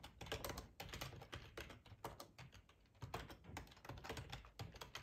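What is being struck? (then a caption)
Plastic computer keyboard. Fingertips of both hands type on a black plastic ergonomic split keyboard with a hollow housing, lying on a cloth tablecloth. Quick, dense key-press taps clatter in uneven bursts, each with a soft, low, hollow thud and a short, dry click that dies away almost at once. The typing is quiet overall and eases briefly in the middle before picking up again.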